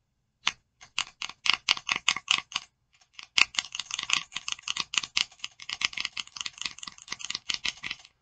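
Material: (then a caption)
Plastic. Long nails tap and scratch the lid of a small clear plastic e.l.f. eyeshadow palette held in both hands. Bright, dry plastic clicks come in an even run, pause briefly, then return faster and denser with scratchy ticks. Each tap stops almost instantly, with no ring and no low end.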